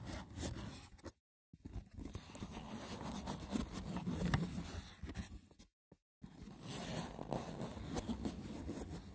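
Fingertips scratch the top and grip the sides of a hollow, braided wicker box woven from seagrass. The result is a dense, rough, crackling scratch that is heavy in the low end, interrupted by two brief silent pauses.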